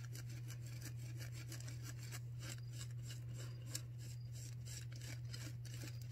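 Long nails on both hands scratch and rub a white disposable non-woven paper surgical face mask worn on the face, recorded close up. Quick, bright, scratchy strokes crackle in a steady run over a constant low hum, with no single stroke standing out from the rest.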